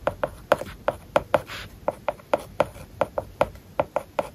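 A plastic stylus tip writes small Japanese characters on an iPad's glass screen covered with a matte plastic paper-like film. It makes quick, dry tapping ticks with short scratchy strokes between them, mostly mid-pitched and with almost no ring.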